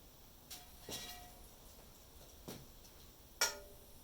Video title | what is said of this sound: How to find cast iron flaws | You don't want the ones that have thuds. Thuds indicate cracks.